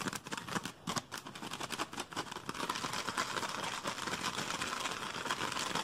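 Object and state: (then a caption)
Empty plastic soda bottle. Fingers grip, crinkle and scratch near the cap of an empty, hollow, clear PET Pepsi bottle with a blue label and cap. Quick, bright plastic crackles and scratches start as separate bursts, then run together into a dense, steady crinkling with a hollow tone around 1 kHz.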